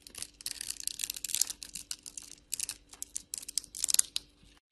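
A hand with long glitter nails scrapes small cubes off a solid rectangular blue soap bar scored into a fine grid, using a metal blade. The result is a dense run of crisp, bright crunching and scraping bursts with almost no low end, over a faint steady hum.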